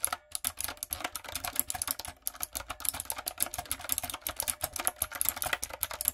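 Fingertips and long acrylic nails type quickly on a light-up, typewriter-style plastic mechanical keyboard with round plastic keycaps. A steady stream of sharp, bright clicks and clacks stops dead after each keystroke, with very little low end.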